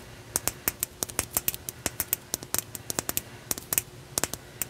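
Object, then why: Opalite glass crystal point. A solid opalite glass crystal point, held horizontally in both hands, has its smooth faces tapped and scratched with long nails. About 25 quick, bright clicks with very short ring ride over a faint scratchy hiss, the sound concentrated in the high frequencies.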